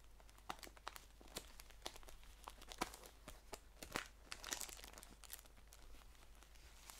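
Fingers crinkle and scratch a green paper tea pouch while it is turned and held on edge. Quiet, dry, crisp crackles and short scratchy ticks pop out sharply and die away at once over a faint, steady low hum.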